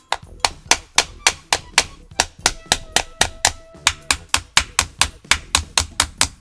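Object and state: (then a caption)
Brittle plastic charger shell, cracked. A small hammer knocks 24 times at a quick, fairly even pace on the plastic case of a Lenovo Xiaoxin 105W three-port GaN charger, testing whether the shell is brittle. Each knock is a sharp, bright, dry tap that dies almost instantly. The case cracks at the struck spot, confirming the shell is brittle.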